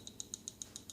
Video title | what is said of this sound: Milwaukee Adjustable Wrench Review | when I shake it, you don't hear it rattling that much.